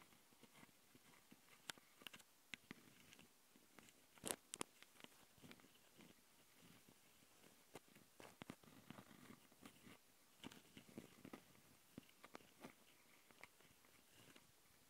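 Long nails of both hands scratch the metal mesh grilles of the microphone capsules on top of a small black plastic Tascam handheld recorder. The result is quiet, crisp scratching and tapping with many sharp, bright clicks that die away at once, over a faint steady hiss.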